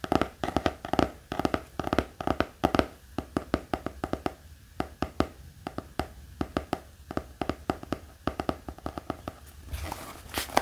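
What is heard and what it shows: A black hardcover notebook with an elastic band lies flat and is tapped with the fingertips, making a quick, uneven run of short, dry taps with a low, dull body and almost no ring. The taps go on steadily throughout, and a brighter, brushing scratch comes in near the end.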